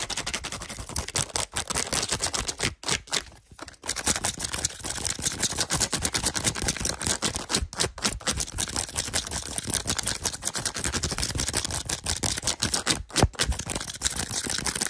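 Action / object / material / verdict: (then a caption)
tap / plastic TV remote control with rubber buttons / plastic / none. Fingertips and short nails tap and scratch quickly across the rubber buttons of a hollow, handheld black plastic TV remote control. The result is a dense, fast stream of bright, dry clicks and scratchy rustles with almost no ring, briefly thinning out around the four-second mark before continuing steadily.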